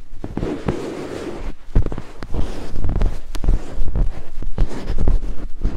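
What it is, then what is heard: Silicone binaural microphone ear scraped with wooden picks. Two thin wooden picks held in the fingertips scrape across white silicone binaural microphone ears. The result is a dense, irregular run of scratchy rubbing and soft, muffled thumps, heavy in low rumble, with occasional sharper brushing clicks.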